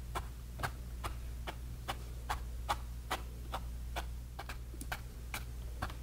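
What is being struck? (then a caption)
Bristle brush on a painted canvas panel. A flat bristle brush taps and dabs grey paint onto a small canvas panel, making a series of about 17 short, dry ticks at an uneven, quick pace. The ticks sit over a steady low hum.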